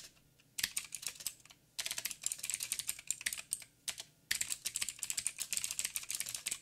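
Fingertips of both hands type on a backlit mechanical keyboard with black plastic keycaps on a silver frame and a hollow housing. Bursts of rapid, bright, clicky key taps decay almost instantly, separated by brief quiet pauses.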